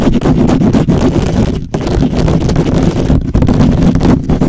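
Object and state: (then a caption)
Metal mesh microphone grille being scratched. Fingertips of both hands scratch fast across the hollow metal mesh grille of a black microphone. The result is a dense, continuous, rough scratching roar, heavy in the low end, with a few brief dips in loudness.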